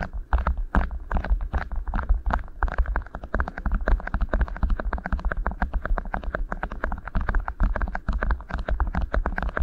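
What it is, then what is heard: Beeswax food wrap. Fingertips gently press and rub two rolled, thin, flexible beeswax-coated cotton wraps sitting over the mic capsules of a Tascam recorder. The result is a dense, continuous stream of soft, rapid crinkling taps and close, muffled thumps over a heavy low rumble.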